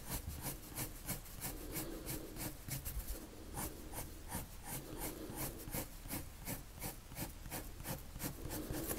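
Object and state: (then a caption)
Paper drawn on with a coloured pencil. A blue colored pencil is drawn in circular strokes across a sheet of flat white drawing paper, giving a soft, continuous rubbing and scratching. Bright, brushy bursts of scratch repeat at an irregular pace of about three per second over a low, muffled rumble, staying quiet and steady throughout.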